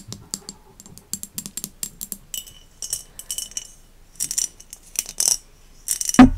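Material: Glass.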